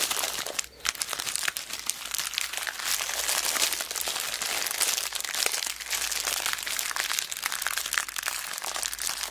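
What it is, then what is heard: Plastic zip bag of beads. A small clear plastic zip bag full of mixed beads is squeezed, crinkled and rolled between fingers with long black nails. The result is a dense, continuous bright crinkling with faint crunchy ticks from the beads, broken only by a brief quiet dip just under a second in.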